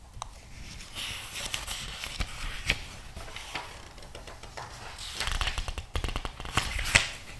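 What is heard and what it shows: Fingertips rub, squeeze and quickly flip the pages of a thick glossy paper magazine lying open. The result is a steady papery rustle broken by sharp, bright crackles and swishes, with louder bursts of crinkling near the end.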